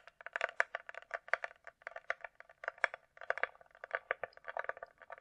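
Long nails tap rapidly across the top and sides of a closed, hollow hard-shell glasses case with a glossy coated shell, likely plastic. About 28 quick, dry clicks fall in an uneven rhythm, each with a hollow midrange tone and almost no ring or low end.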